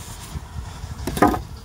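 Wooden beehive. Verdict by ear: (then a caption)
Full. A knuckle knocks on a wooden beehive that had been left untended: two dull, low knocks with a short ring, the second louder than the first. The hive sounds full, and it proves packed with bees, stores and brood, enormous inside.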